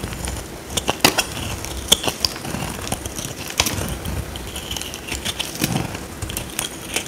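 A small metal blade cuts and scrapes a dry, solid oval white soap bar held in the hand. A steady crisp crackling scrape runs throughout, broken by sharp, bright snapping clicks as pieces break away.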